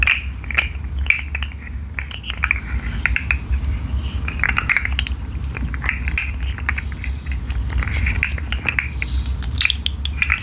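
A rainbow articulated plastic fidget slug with hollow segments is curled and shaken by hand, so its segments click against each other. Rapid, bright, dry clicks and light rattles with very short ring come in bursts over a steady low hum.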